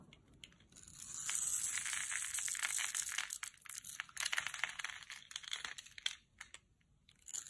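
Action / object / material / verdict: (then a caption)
scrape / bar of soap cut with a knife / soap / none. A utility knife scores a grid into a solid, translucent amber bar of dry soap held in the palm and shaves off small cubes. A steady, bright, crisp scraping rasp builds early and holds, then breaks into uneven crunchy, crackling cuts with short clicky flakes. It dips nearly silent before a final scrape at the end.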